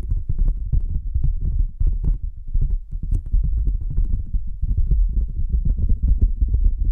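A thin, flat white cardboard sheet held between two microphones is tapped rapidly with long nails and fingertips. The result is a steady stream of deep, muffled, thumping taps with a low rumble, short with almost no ring, and only faint brighter clicks on top.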